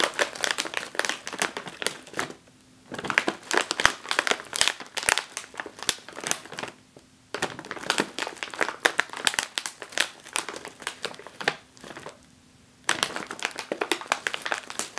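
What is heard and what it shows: Fingertips with long nails tap and press the top of a full, sealed, foil-lined plastic chip bag resting on a table. Dense, bright crinkling and crackling comes in rapid bursts, broken by a few short quiet pauses.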